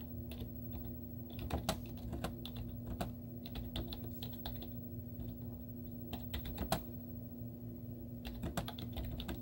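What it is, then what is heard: Plastic laptop keyboard being typed on. Long teal-painted nails and fingertips type rapidly on a white plastic laptop keyboard with cartoon stickers on its hollow keys. The result is a stream of short, crisp clicks and taps with occasional louder strokes over a steady low hum.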